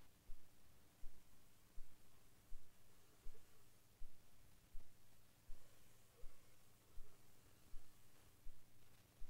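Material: Nothing is struck.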